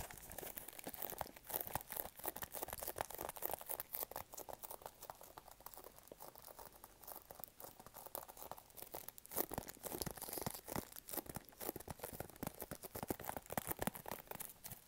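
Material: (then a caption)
Cardboard. A small, hollow, pink printed cardboard product box is held close to the mic and scratched and tapped with fingertips and nails. The result is a dense, quiet stream of dry, crinkly scratches and soft taps with bright, papery texture and almost no ring, continuing steadily throughout.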